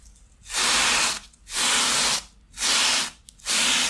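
A thin foam shoe insole with a grey fabric top, lying on a towel beside a second insole, is scrubbed along its length with a wooden-handled stiff bristle brush. Four separate brushing strokes come about once a second, each a bright, airy scratching hiss with almost no low end, with short quiet gaps between them.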